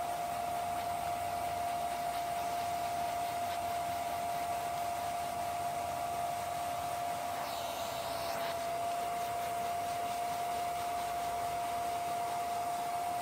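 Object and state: Nothing is struck.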